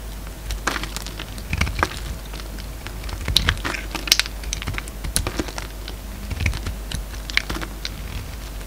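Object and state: Bar of soap being cut.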